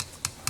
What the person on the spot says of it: you can hear this it's very rough sound